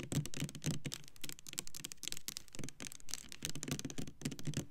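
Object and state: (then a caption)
Plastic soap bottle tapped with nails. Long nails tap the front label of a Black Cherry Merlot clear plastic foaming hand soap bottle, full of pink liquid and standing upright. The rapid, uneven tapping gives dull, low plastic knocks with bright clicky edges, and each tap dies away almost at once.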